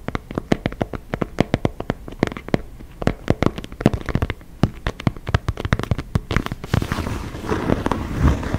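Fingertips and nails tap and scratch the surface of an inflated synthetic leather football (soccer ball), making a rapid series of sharp, dry clicks with a low thump under each. Toward the end the hand moves close to the microphone, and the taps blur into a louder, denser rustling wash.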